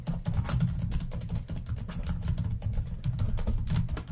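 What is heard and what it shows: Long nails type rapidly on a black plastic laptop keyboard, producing a dense, continuous stream of short, dry clicks with almost no ring. A low thumping underlayer dominates the sound, with bright clicky edges on top.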